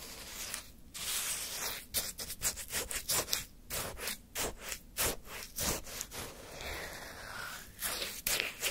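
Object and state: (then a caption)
Orange shaved-ice sherbet scraped. A wooden stick scrapes through frozen orange sherbet in a small paper cup and lifts a large icy scoop. The sound is a series of bright, crunchy scraping and rasping strokes, mostly high in pitch, with brief pauses between them.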